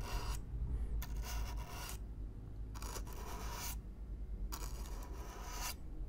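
A stiff black-bristle brush is stroked across the surface of a hollow brown corrugated cardboard box at close range. Long, bright, raspy brushing strokes alternate with quieter pauses. A steady low rumble runs underneath throughout.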